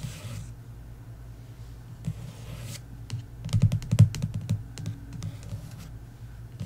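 Long nails give fast fingertip taps, like typing, across the glossy card cover of a paperback novel, "The Inheritance Games," lying flat on a wooden table. The quick, dull, low taps come in an uneven patter. Soft brushing hiss sounds near the start and again around two seconds, and the tapping is densest and loudest in the middle of the clip.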